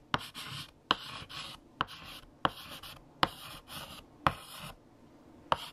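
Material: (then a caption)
Chalk. A hand writes on a large flat black chalkboard with a light blue chalk stick, making a series of sharp chalk taps, each followed by a bright, dry scratching stroke. The taps and strokes alternate with brief pauses in a quiet space.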